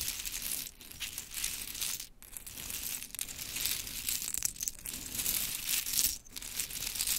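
Long chrome nails scratch, tap and rake through a pile of small pink mini wooden clothespins. The result is a dense, bright stream of crisp clicks, rattles and scratchy rustling with very little low end. Each sound dies away quickly, and the level dips briefly between passes.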